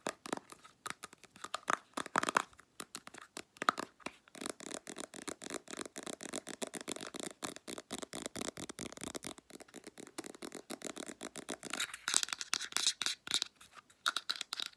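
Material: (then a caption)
Plastic. Long black nails scratch and tap the sides and white cap of a Clearasil plastic squeeze tube of face wash. The result is a dense, rapid stream of short, dry, bright clicks and scratchy rasps, with sharper, louder taps standing out now and then.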